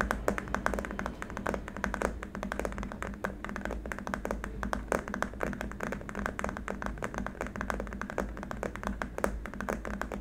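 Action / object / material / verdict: tap / plastic keyboard wrist rest / plastic / none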